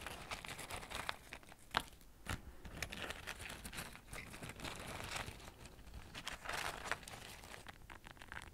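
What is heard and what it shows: Fingertips reach inside a medium brown kraft paper bag, hollow and open at the top and held in front of a microphone, crinkling and rustling its paper walls. A dense, steady stream of dry, bright crinkles and soft rustles is heard, with a few sharper crackling snaps standing out along the way.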